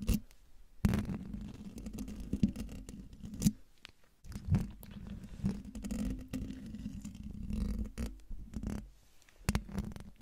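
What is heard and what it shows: Long dark nails scratch the hollow metal mesh grille of a silver Blue Yeti microphone, with hands at both sides and one over the top. Close, low scratching and rubbing with a steady hum near 200 Hz is broken by sharp bright taps and pauses.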